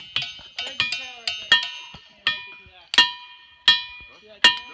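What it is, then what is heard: Ringing rock. Rocks in a boulder field are struck repeatedly, each of about ten sharp hits giving a bright, cowbell-like metallic ring with a clear tone near 2.8 kHz. The ring fades quickly after each hit, with faint gliding tones in the background between strikes.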